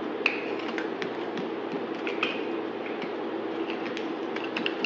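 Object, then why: Solid bar of soap cut with a knife blade. A solid white bar of soap, held in the hand, is shaved with a utility knife blade. A steady, dry scraping hiss runs throughout, broken by crisp, sharp snaps and clicks, some carrying a brief bright ring near 2.5 kHz.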